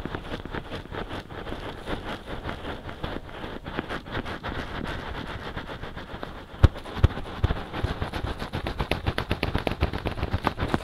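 Fingertips quickly scratch and tap the soft silicone ears on both sides of a binaural microphone. The result is a dense, low, muffled rustling with rapid, irregular soft thumps. The taps grow sharper and more distinct in the second half, with a loud tap partway through.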